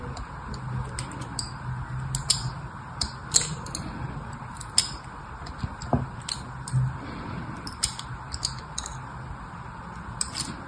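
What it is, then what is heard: Bar of soap being scratched. A fine pin or needle scratches crisscross lines into the top of a solid red rectangular soap bar held in place by one hand, carving visible grooves. Short, bright scratching ticks repeat irregularly over a low, steady background hum.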